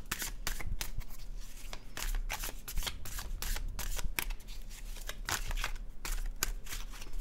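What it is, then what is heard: Paper tarot card deck being shuffled. A full deck of dark blue cardstock tarot cards is held in both hands over a blue cloth and riffled and overhand shuffled by the fingertips. Rapid, crisp papery flicks and soft snaps overlap in a steady, quiet stream of bright, short clicks over a faint low hum.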